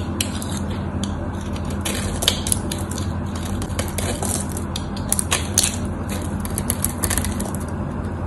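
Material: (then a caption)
Soap. A utility knife blade scrapes cubes off a solid white bar of soap that has an embossed logo and is scored in a grid. Crisp, crunchy scraping and bright clicks come in an uneven stream over a steady low hum, with small cubes breaking away as the blade passes.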